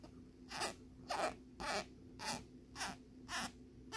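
Fingertips and nails scratch and rub the ridged surface of a thin plastic lenticular bear card lying on a wooden board. Seven evenly spaced, raspy scraping strokes sound out, each a brief bright burst with a steady faint hum between them.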